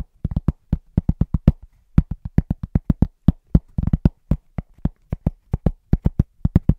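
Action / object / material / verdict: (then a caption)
tap / thin round cork trivet / cork / none. A large, thin, round cork trivet is held upright and tapped quickly with the fingertips of both hands. The result is a fast, loosely rhythmic run of short, dull, low thuds with almost no ring, sometimes bunching into quick rolls.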